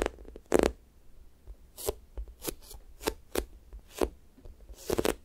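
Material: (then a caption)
Foam. Fingers press into a pink square toast squishy toy, soft and solid foam with a sticky skin, then peel off, leaving dimples. About nine short, sticky crackling peels snap out in quick bursts, each ending at once with almost no ring.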